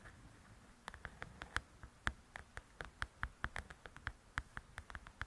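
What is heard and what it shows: Long nails tap and scratch across the glossy cover of a large, flat paperback coloring book. About two dozen quiet, sharp, dry taps land at an uneven pace, each with a brief midrange knock and a bright click edge, over a soft low hiss and light scratching between them.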